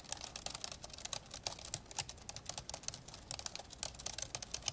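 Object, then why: Plastic laptop keyboard. Rapid fingertip typing with both hands on the hollow plastic keyboard deck of an old 1990s dark grey plastic laptop lying open. Quick, bright, dry clicks come in a dense, uneven stream with almost no low end and virtually no ring.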